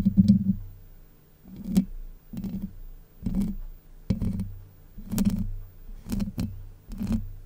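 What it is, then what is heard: Metal mesh microphone grille scratched. Long white nails scratch the hollow domed steel mesh grille of a Blue Yeti microphone in a series of separate strokes. Each stroke makes a close, deep, muffled rasp with a low hum around 190 Hz, and some strokes add a brief bright scrape on top. The strokes stop short with almost no ring, leaving quiet gaps between them.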